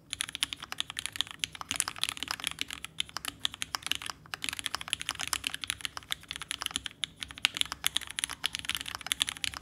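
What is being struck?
Mechanical keyboard, aluminum case with plastic keycaps.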